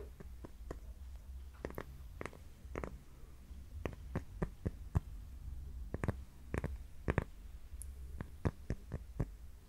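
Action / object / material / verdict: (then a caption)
tap / cork coaster / cork / none. A round, flat, thin solid cork coaster held in both hands is tapped and scratched with long painted fingernails. Many short, dull taps with no ring-out land over a soft, low scratching rumble.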